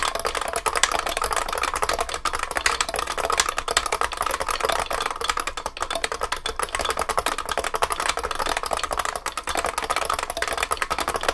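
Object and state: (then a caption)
IBM beam spring keyboard being typed on. Continuous two-handed fingertip typing on a large vintage beige IBM 3278 beam spring keyboard with plastic keycaps and a metal case. Dense, rapid, sharp clacks run steadily through the whole clip, each with a very short ring. The sound is bright and clicky with a strong mid-range body and very little bass.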